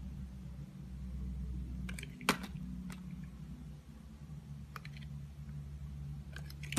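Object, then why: Glycerin soap bar cut with a utility knife blade. A green-handled utility knife blade slices and shaves thin curls off a solid, hand-sized, translucent orange glycerin soap bar held in the fingers. Short, crisp scraping and cutting clicks stand out over a steady low hum, with the sharpest cut just after two seconds and another near the end.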